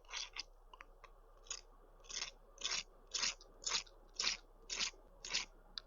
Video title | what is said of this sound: TOURTIÈRE du Québec 🔵⚪ - Oh mon gourmand ! EP.13 - Rediffusion du live du 31/07/2025 | C'est toujours bien croustillant ça